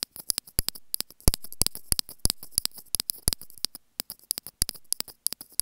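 Long grey painted nails scratch and tap the small white plastic inline microphone housing on a white earphone cable. Dense, irregular clicks and taps with bright, crisp transients and low thumps sit between softer scratching rustles, with many quick hits spread across the clip.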